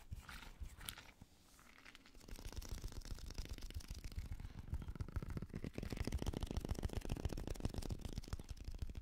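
A small translucent blue squishy stress ball, likely a rubber skin filled with gel beads, is held in the hand and tapped with fingertips and nails. Quick, irregular soft taps and squishy crunches come out dull and low, with brief brighter crackles early on. After a short quiet pause, the tapping grows denser and louder through the rest of the clip.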